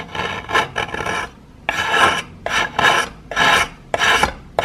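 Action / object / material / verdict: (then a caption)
scrape / plaster chunk scraped with a metal knife / plaster / none. A solid piece of plaster is held in the fingers and scraped with a metal knife in a series of uneven, rasping strokes. Each stroke is a dry, gritty scratch with bright, hissy texture, and the strokes stop quickly with short gaps between them.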